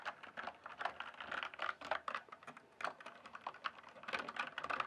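Fingertips type and tap quickly on the plastic keycaps of a full-size RGB-backlit mechanical gaming keyboard. The result is a rapid, steady stream of short, crisp clicks and clacks with a mid-range tone and almost no low end. Each keystroke dies away almost instantly.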